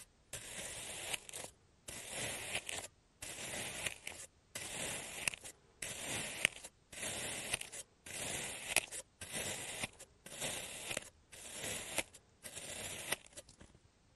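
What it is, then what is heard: Kinetic sand being sliced. A clear serrated plastic cutter scores and slices a diamond pattern into a pink kinetic sand slab resting on a blue surface. About twelve steady, bright, gritty scraping strokes, each lasting around a second, are separated by brief silences.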